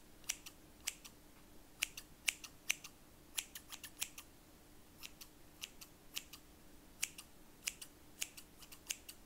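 Large stainless steel scissors with black plastic handles and solid metal blades are opened wide and closed by hand, the blades scraping together while other scissors lie still on cloth. Sharp, bright metallic snips and scrapes come in quick irregular clusters, each dying away almost instantly over a faint steady low hum.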